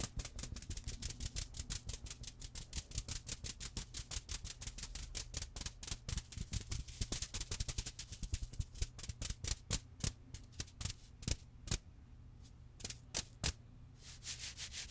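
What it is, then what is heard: Plush toy cat. Long red-painted nails scratch and squeeze a small, soft, cream fabric stuffed cat toy, making quick, dry, bright scratching strokes over a steady low hum. The strokes run densely at first, then thin out into sharper, more widely spaced scratches before picking up again at the end.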